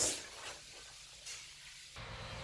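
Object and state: Nothing is struck.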